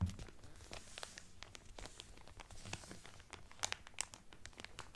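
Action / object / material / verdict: scrape / cellophane wrapper around a cotton towel / cellophane / none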